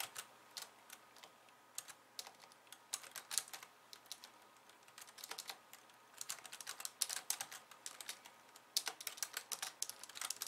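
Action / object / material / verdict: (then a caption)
tap / plastic computer keyboard / plastic / none. A pink low-profile plastic computer keyboard with white keys, resting on a wooden desk, is typed on with the long painted nails of both hands. Quick, bright, clicky taps come in uneven bursts and clusters with brief pauses between. The sound is quiet, thin and crisp, with almost no low end and no ring after each tap.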